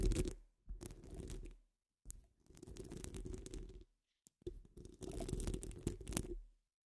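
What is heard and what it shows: Long fingernails on both hands scratch a hollow metal wire-mesh microphone dome. The result is four dense bursts of low, rumbling, crackly scratching separated by short silences, with heavy muffled bass and very little brightness.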